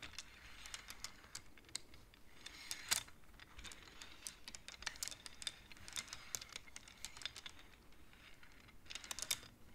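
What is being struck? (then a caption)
Wooden abacus beads. Long-nailed fingers slide and clack the beads of a wooden abacus, making a quick, irregular run of many short, bright clicks and light taps. The clicks are quiet and dry, with almost no ring after each one, over a faint low hiss.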